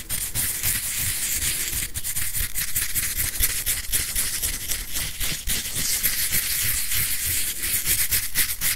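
Fingernails scratch and tap the surface of a grey whiteboard eraser, with a plastic body and felt pad, held beside the mic. The result is a steady, bright, hissy scratching texture with a low rumble underneath and brief dips between strokes.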